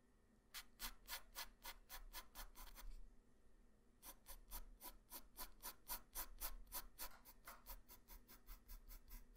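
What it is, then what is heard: Pencil sketching on paper. A graphite pencil tip, held by hand, draws light sketch lines across a flat white paper sheet. It makes quick, fairly regular strokes of bright scratching and rubbing, with a short pause about a third of the way through before the strokes resume. A steady low rumble sits underneath throughout.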